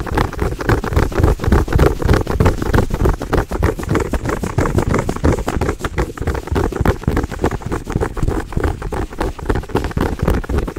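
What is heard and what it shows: Long nails scratch and tap a small, soft, stuffed brown fuzzy fabric pouch shaped like a cookie or toast. The result is a rapid, uneven stream of muffled, low, padded thumps and soft scratching, about three or four per second, with almost no bright edge.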